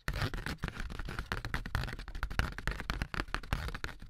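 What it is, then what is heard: Corrugated cardboard sheet. A handheld sheet of thin, light, ribbed corrugated cardboard is tapped and scratched along its ribs with AA batteries worn as long nails. Rapid, dense taps and scratchy scrapes run steadily throughout, with a low, hollow thud and short, dry clicks that stop almost at once.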